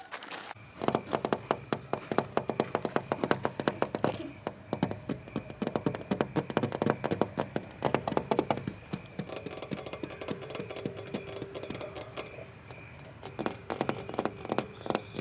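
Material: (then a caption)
Painted metal. Fingertips and nails of both hands rapidly tap and scratch a flat blue painted metal play panel with a bolt and scratched paint. The result is a dense stream of short, dry clicks with a faint metallic tone near 470 Hz, mixed with soft scraping. The tapping thins into a quieter stretch before picking up again at the end.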